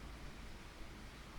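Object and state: Nothing is struck.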